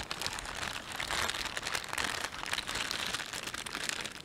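Fingertips rub and crumple a thin, empty, hollow green-and-white plastic carrier bag printed with a panda, lying on a cloth surface. A steady, dense, bright crinkling and crackling carries on throughout, with little low end.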